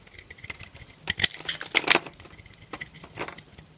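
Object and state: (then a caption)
Soap bar being shaved. A solid pink soap bar held in the hand is shaved with a blade into long thin curls. Quiet, bright, crisp scraping strokes come at an irregular pace, with the strongest, crackling cuts near the middle of the clip. Each stroke stops short with almost no ring.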